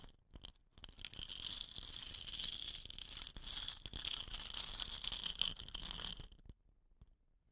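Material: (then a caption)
Bamboo. Fingertips rub and roll a hollow, dot-painted bamboo rain stick with woven rattan end caps, then grip an end cap, making the filling rattle. A dense, bright, hissing rattle with scattered sharp ticks runs steadily for about six seconds, then cuts off abruptly to near silence.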